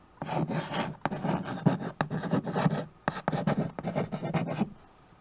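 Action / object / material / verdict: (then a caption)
scrape / chalk on a wood-framed chalkboard / chalk, slate / none. White chalk is scratched across a small flat chalkboard in a wooden frame, held in a hand with teal nails, while names are written on it. Dry, raspy chalk strokes come in several bursts separated by short pauses, with a low, buzzy body. The scratching stops near the end, leaving quiet.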